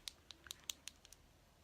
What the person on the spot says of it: There's like a little ball in there. That's what you want to hear with the dip and draws.